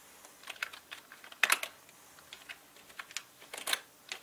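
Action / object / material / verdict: tap / plastic mechanical keyboard / plastic / none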